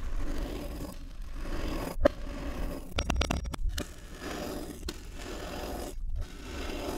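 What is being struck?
Packed kinetic sand dome cut with a steel knife.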